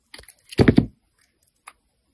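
A metal blade scrapes and shaves the surface of a hand-held solid white Ivory soap bar. A few soft, scratchy little scrapes lead into a louder, grainy shaving stroke with a low, dull body and pulsing texture. A faint brief click follows after a pause.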